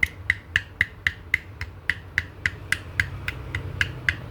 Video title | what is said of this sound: อู่ช่างหนึ่ง วิธีเช็คข้อเหวี่ยง Nmax แบบเบื้องต้น EP.521 | ตัวนี้นะครับหลวมเยอะ